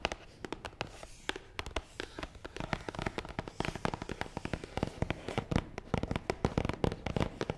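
Long nails tap fast across the top of a long, hollow, black matte cardboard box. The result is a rapid, dense patter of dry, clicky taps with a hollow, low-pitched body and almost no ring after each hit.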